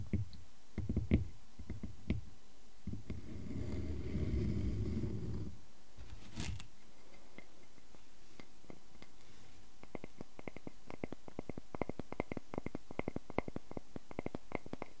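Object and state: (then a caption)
Wooden log slice being scratched. Fingertips scratch the face of a solid round wooden log slice, with rings and a bark rim, as it lies on a table, then the slice is lifted and its bark edge is scratched with nails. Soft, low, dull scrapes and taps give way to a steady rumbling rub, then a brief bright hiss. The clip ends in a long run of quick, dry, clicky nail scratches.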